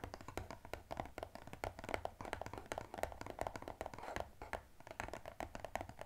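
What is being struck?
Small glossy cardboard box.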